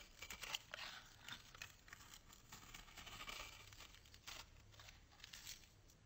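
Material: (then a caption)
Soap. A solid white bar of soap, held in the hand, is scraped and shaved into fine curls with a metal box-cutter blade. Quiet, bright, dry scraping and crisp crackling strokes come in a steady run of short bursts, with a faint low hum underneath.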